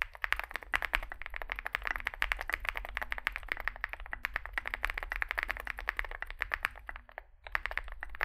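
Fingertips type continuously on a small Zoom65 mechanical keyboard, a 65% board with a dark case and white and grey plastic keycaps. The result is a dense stream of short, bright clacks with no ring, over a steady low hum. The typing pauses briefly near the end before resuming.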